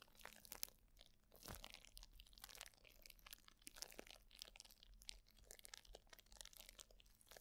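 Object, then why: Plastic bubble wrap sheet. A sheet of plastic bubble wrap is held near the microphone while fingertips and nails scratch, crinkle and squeeze it. The result is a quiet, continuous stream of dense, bright crackling and crunching with sharp, dry snaps that stop instantly, over a faint low hum.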